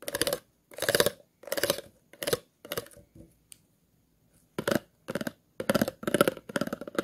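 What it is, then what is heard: Plastic water bottle scratched along its grooves. The tip of a pair of scissors scratches across the grooves of an empty, hollow, clear plastic water bottle in a series of short, rasping strokes. Each stroke gives a buzzy, ridged rattle with a hollow tone around 560 Hz and bright, crisp edges. After a brief pause of near silence, the strokes resume at a quicker pace.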